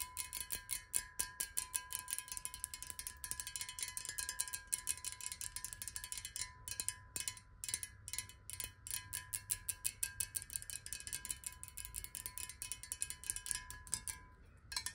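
Long nails rapidly tap a clear square glass water bottle standing upright and partly filled with water. The result is a quiet, continuous stream of crisp, bright clicks with very short ring and a faint steady tone near 1 kHz beneath them.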